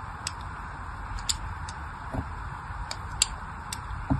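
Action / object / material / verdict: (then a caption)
scrape / glycerin soap bar cut with a small blade / soap / none. A small blade cuts fine grooves into a solid pink and white striped glycerin soap bar held in the hand. Sharp, bright scraping clicks come at irregular intervals over a steady low hiss, each one dying away almost instantly.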